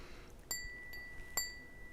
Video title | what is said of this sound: Glass engraving tutorial for beginners, Hand glass engraving Bee and Daisies - Part 1 | it's got a lovely lovely ring